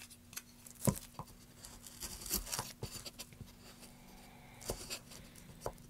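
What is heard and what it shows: A metal gouge tip cuts and scrapes the textured surface of a solid, light wood plank in short strokes. It makes a series of quick, dry scratches and scrapes with bright, crisp edges and no ringing. A faint steady low hum sits underneath.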